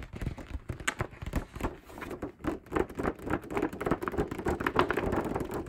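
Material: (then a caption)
Paper. Fingertips of both hands rapidly tap across the surface of a large printed paper group poster. The result is a quick, uneven patter of soft, papery taps with dull low thumps and a hollow midrange tone, each tap fading almost instantly.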